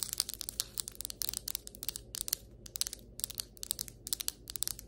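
Long white acrylic nails tap and scratch across the surface of solid ceramic floor tiles. Rapid bursts of bright, dry clicks alternate with short scratchy rasps, each dying away almost instantly, over a faint steady low hum.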